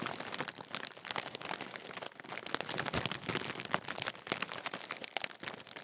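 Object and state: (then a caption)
Crinkled foil crisp packet. A large, sealed, full Walkers crisp bag made of metallised plastic film is held up and crinkled with the fingertips. It makes a steady stream of sharp, bright crackles and crunches. The sound is quiet, with little low end.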